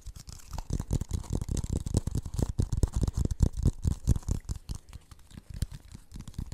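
A hollow, empty blue plastic funnel is held close to the microphone while fingertips and nails tap and scratch it. The result is a quick, irregular patter of dull, low, bassy thumps, each dying away almost at once, with a soft, faint scratchy hiss on top that sounds like brushing.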